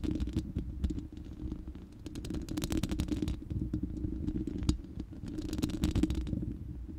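Long nails scratch the bare, hollow, round steel mesh grille of a studio microphone. The result is a dense, continuous scratching with a deep low rumble underneath and bursts of bright, crackly scraping that come and go.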